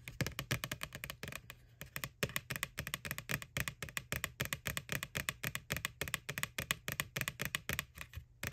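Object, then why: Hollow plastic bucket. Long nails tap rapidly on the printed face of a white, hollow plastic ghost Halloween bucket from McDonald's, lying on its side. The dozens of quick, dry, clicky taps are bright, die away almost instantly and come in uneven bursts over a faint low hum.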